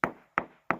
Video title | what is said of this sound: Sweat'n bullets in quarry! | You can hear the difference. It's loose.